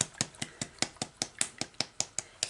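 A serum dropper bottle is shaken, and its thin, runny liquid contents slosh against the glass in a quick, regular series of about fourteen short, bright splashing clicks. The contents sound pretty liquidy, thinner than a moisturizer.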